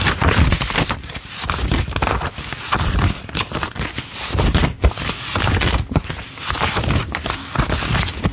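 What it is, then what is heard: Paper banknotes being counted. Both hands peel US $5 paper bills off a wad with the fingertips and drop them onto a pile on a table, counting them out. Dry paper crinkles, flicks and soft scrapes follow in quick succession, each one short and crisp. Brief slaps of the bills landing add a low thud under the bright rustle.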